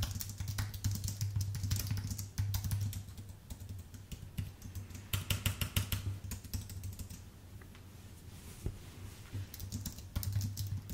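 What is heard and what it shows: Fingertips type on a white, full-size Apple Magic Keyboard with plastic keycaps on an aluminium base, producing bursts of quick, dry, clicky keystrokes that speed up and ease off. Low hum sits steadily under the taps. Louder flurries at the start, middle and end give way to softer, sparser pecking in between.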